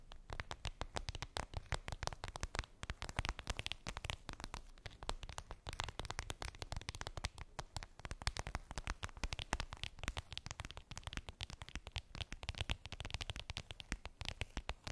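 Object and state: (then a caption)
Clear vinyl pouch. Long pink nails tap and scratch a flat, clear vinyl (PVC) makeup pouch with a daisy print and a zipper, lying on fluffy fabric. The result is a quiet, continuous stream of rapid, crackly clicks and scratches, with a heavy low thump under short, bright ticks that stop almost instantly.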